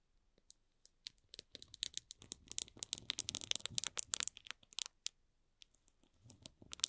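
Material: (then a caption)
Plastic film. Fingertips and short nails scratch and rub the barcode side of a small, hollow cardboard box wrapped in plastic film. The result is a quiet run of sharp, bright crinkling scratches that bunch into a dense burst in the middle, then thin out to a few scattered ticks.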